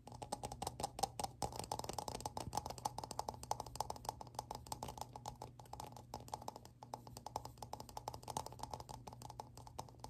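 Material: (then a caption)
Plastic. A plastic object is tapped rapidly up close, giving a dense run of short, dry clicks with almost no ring. A steady low hum sits underneath throughout.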